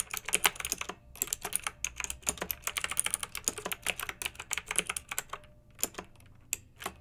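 Fingertips with long nails type on a pink backlit plastic mechanical keyboard with round, typewriter-style plastic keycaps. The result is a steady run of dozens of crisp, bright, clacky keystrokes that die away quickly, with a brief pause near the start and sparser taps toward the end.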